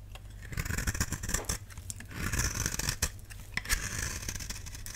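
A utility knife blade scrapes across the face of a solid, palm-sized, oval pink bar of dry soap held in one hand, shaving off thin curls. Dry, crackly scraping strokes come in uneven bursts with bright, hissy texture over a steady low hum underneath.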